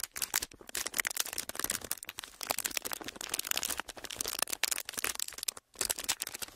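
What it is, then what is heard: Clear ridged plastic packaging being crinkled. An empty, clear, ridged plastic packaging sheet is flexed and crinkled with fingers, producing a steady stream of bright, dry crackles and snaps with almost no low end. The crinkling runs continuously, with brief dips in level and a short silent gap near the end before it resumes.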